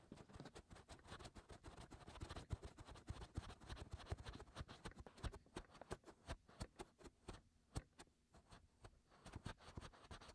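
Both hands scratch the white hollow silicone ear molds of a 3Dio binaural microphone with fingertips and short nails, working around the inner ear openings. The result is a dense, steady stream of quick, dry scratches and soft taps, heavy in low rumble with brief bright clicks, continuing without pause.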